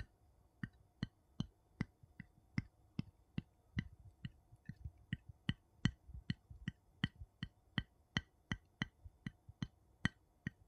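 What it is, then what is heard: Metal jar lid tapped. The edge of a wooden scoop taps the top of a gold metal screw lid on a small glass jar that holds some contents. There are 25 short, dry taps at a steady pace, each a low thump around 140 Hz with a bright click on top. Each one dies away almost instantly, leaving quiet gaps between taps.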